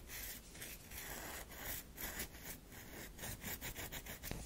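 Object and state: Bar of soap being scratched.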